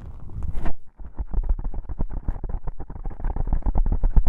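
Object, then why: Foam microphone windscreen. Fingertips press and rub on two small black foam windscreen covers on a binaural microphone, then long nails scratch across them. The sound is a deep, muffled rumbling with a brief bright rustle, a short pause, then a fast run of dull, boomy scratching strokes.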